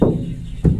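Two knocks on the inside of a 1991 GMC Sonoma ST truck's bare sheet-steel roof panel, which has no headliner or sound deadening. Each knock gives a low, hollow thud centred around 170 Hz that fades quickly. The roof sounds hollow, and sound deadening is to be added later.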